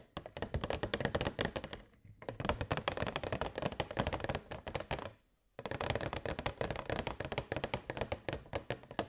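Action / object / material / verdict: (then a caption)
tap / clear plastic box holding LED fairy lights / plastic / none. A transparent, hollow plastic box holding LED fairy lights is tapped rapidly with long nails while tilted. The result is a dense run of short, dry, hollow clicks centered in the midrange, with brief pauses near 2 and 5 seconds.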